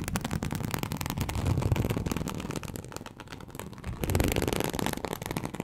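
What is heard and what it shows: Very long acrylic nails on both hands scratch across a large flat teal snakeskin-embossed leather sheet, likely faux, lying on a surface. The result is a dense, irregular stream of quick crackly scrapes with a low, rough rumble underneath. The sound swells, dips briefly near the middle, then builds again.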